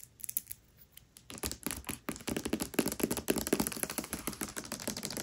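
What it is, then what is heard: Hardcover book with paper dust jacket. Long nails tap and scratch the paper dust jacket of the hardcover book *Tress of the Emerald Sea* as it lies flat. A few sparse, crisp taps in near silence give way after about a second to a dense, rapid run of dry clicks and papery scratches. The sound is bright and short with almost no ring, and it grows steadily busier and louder toward the end.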